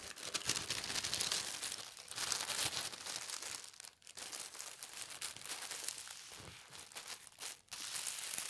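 A thin white tissue paper sheet is smoothed, lifted and folded in half, then pressed flat by hands with long red nails. A steady, bright crinkling and rustling fills the clip, with short dips near four and seven and a half seconds, and little low-end weight.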